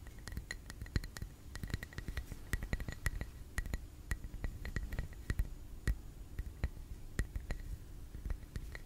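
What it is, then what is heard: Glass candle jar. A small clear glass tumbler holding a lit red wax candle, full of wax, is held in both hands and tapped gently on its glass wall with fingertips and nails. Many quick, soft clinks with a bright glassy ping fall in an uneven, unhurried rhythm over a low, dull background rumble, each tap dying away almost at once.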